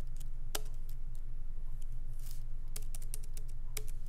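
Fingertips of both hands lightly type on a MacBook Pro laptop keyboard with black plastic keycaps in an aluminum body, resting on a wooden desk. Soft, bright key clicks come at an uneven pace over a steady low hum.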